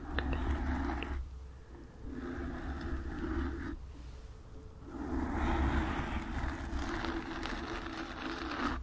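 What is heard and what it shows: Long nails scratch and tap on a black foam microphone windscreen, producing close, rough scratching with a heavy low rumble beneath it. The scratching comes in sustained bursts separated by two brief quieter pauses, with the loudest stretch near the middle of the clip.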